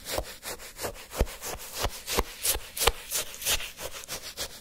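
A wooden spoon is pushed into a full cup of orange granular sherbet shaved ice and scraped repeatedly through the icy crystals. Each stroke gives a short, crisp, bright crunching scrape in a quick, uneven rhythm.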